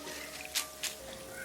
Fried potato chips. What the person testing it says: कितनी करारी कुरकुरी आवाज आ रही है